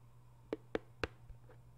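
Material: Cardboard.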